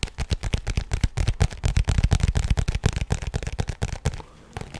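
Fingertips and nails tap and scratch the surface of a lightly filled, printed fabric pencil-case pouch with a zipper. A rapid, uneven run of soft, dull, bass-heavy taps runs for about four seconds, then a brief quiet gap and a few final scratchy taps.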